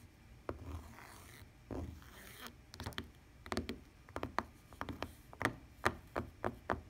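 Long painted nails and a fingertip scratch across a lavender woven fabric tablet case with a plastic rim. Soft, dry rustling scrapes come first, then a quick run of short, sharp nail clicks and ticks with almost no ring.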